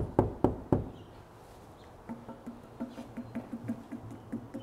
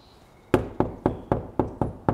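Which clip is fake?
The first.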